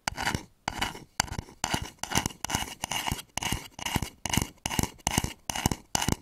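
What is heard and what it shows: Fingernails tap and scratch the outer wall of a hollow, polished wooden bowl turned upside down over the microphones. A steady series of short, dry scratching bursts, separated by brief pauses, carries a low hollow thump under a bright, rasping texture.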